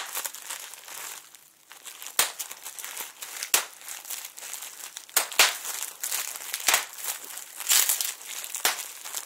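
A flat sheet of clear, air-filled plastic bubble wrap is held taut and squeezed and crinkled by fingertips and short nails. It produces a steady, bright crinkling texture punctuated by sharp, brief pops and snaps. Nearly all of the energy sits in the high range, with almost no low end.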